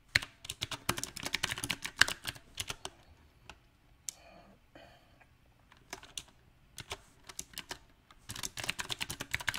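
Fingertips type on a mechanical keyboard with round plastic typewriter-style keycaps on a silver metal frame. The result is sharp, bright clacks with almost no ring, in irregular bursts: fast clusters at the start, sparser taps with pauses in the middle, then a dense flurry again at the end.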